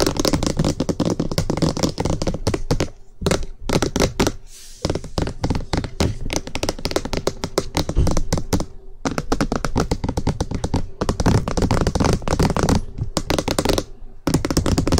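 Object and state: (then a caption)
Plastic microphone housing being tapped. Fingertips tap fast and aggressively on the top of a white, hollow, rectangular plastic SR3D binaural microphone body on a stand, striking near its ends. The result is dense bursts of rapid, hollow, thudding taps with a heavy low end and short decay, broken by brief pauses.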